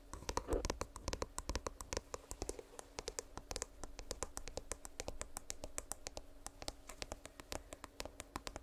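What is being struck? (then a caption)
Earbud charging case. Rapid, light tapping on an earbud charging case produces a dense stream of short, crisp clicks with very little ring. A faint steady hum sits quietly underneath.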